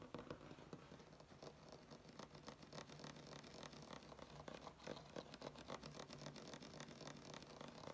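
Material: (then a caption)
Wood. Fingernails tap and scratch across a flat, solid wood-grain tabletop. Quick, irregular dry clicks and scraping strokes come in a dense stream and die away almost instantly, over a faint steady low hum.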